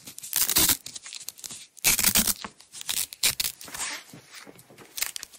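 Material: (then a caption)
Nylon. A yellow nylon Velcro strap, partly unrolled, is peeled off and rewound by long-nailed fingers. It makes bright, crackling ripping bursts that rise and fade, with softer rustling and light scratches between the louder tears.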